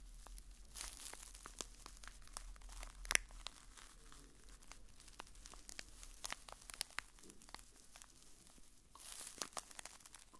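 A small, hollow blue printed cardboard box is held in the hand and scratched with a fingertip and nail. The result is a dense run of quiet, dry, papery scratches and crinkly ticks, mostly bright and high, with a low steady hum underneath. Two brief louder swells of rasping come near the start and the end.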